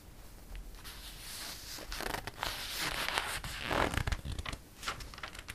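Fingertips rub across the glossy page of a paper catalog, making soft, dry swishing and crinkly rustles that rise and fall. Midway the sound swells as a page is turned with a louder, bright papery sweep and flutter. It then settles back into lighter rubbing.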